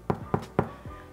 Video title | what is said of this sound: Irish Soda Bread 🍀 | Si ça sonne creux, c'est que c'est bon, c'est prêt, c'est cuit.